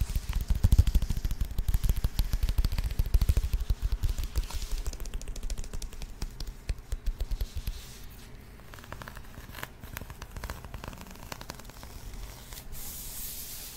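Long acrylic nails scratch and tap across a flat rectangular cardboard box covered in printed glossy paper. Dense, crackly scratching and rapid tapping with a low thump come first, then ease into quieter, sparser scraping and soft taps.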